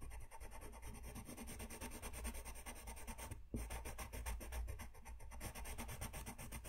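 A brown colored pencil rubs a thin white paper sheet lying flat on a desk in rapid back-and-forth coloring strokes, while the other hand holds the sheet. The clip is a steady, quiet, papery scratching rasp over a low rumble, with a brief pause around the middle before the strokes resume.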